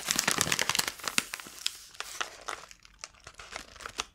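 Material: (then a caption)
Paper. Long nails and fingertips crinkle and rub a small, closed white paper padded mailer envelope. Dense, bright crackling fills the first second, then thins into scattered sharp crinkles and light ticks with quiet gaps between them.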